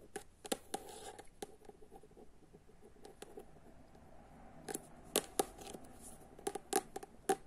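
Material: Paper.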